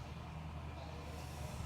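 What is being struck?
Nothing is struck.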